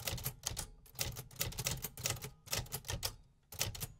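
Fingertips type continuously on the keys of a vintage metal 1950s typewriter loaded with paper. Each keystroke is a sharp, bright mechanical clack over a low thud, and the strikes come in quick bursts with brief pauses between them.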